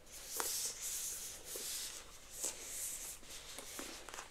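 Long almond-shaped acrylic nails tap and scratch the surface of a pink printed cardboard retail box, held upright, with a hairbrush visible through its front. A soft, bright, papery scratching hiss runs throughout, broken by two sharper taps that fade quickly.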